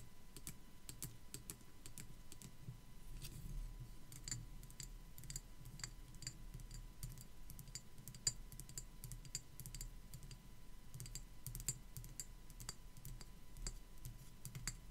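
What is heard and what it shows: Long black acrylic nails tap and scratch across the molded surface of a small, white, hollow-looking plastic skull decoration held in one hand. Many quick, bright clicks ring out over a soft scratching texture, each dying away almost at once. A steady low rumble and a faint constant tone sit underneath throughout.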